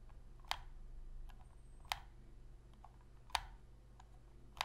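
Long pink fingernails tap and click the shoulder buttons of a hollow black plastic Sony PS3 controller held on its edge. Four sharp, bright clicks land about a second and a half apart, each dying away almost instantly, with a few faint ticks in between over a low, steady hum.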